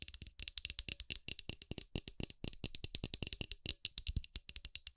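Long acrylic nails tap and scratch fast on the hollow frosted plastic dome of a hand-sized LED light bulb held in both hands. The result is a rapid, dry rattle of dozens of bright, clicky hits with almost no ring after each.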